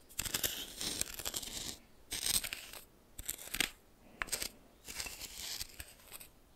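A red plastic spoon held in the fingers stirs and scrapes a pile of white coarse salt in a small bowl that appears to be glass. The result is a series of bright, scratchy crystal-scraping bursts separated by short pauses, with little low end.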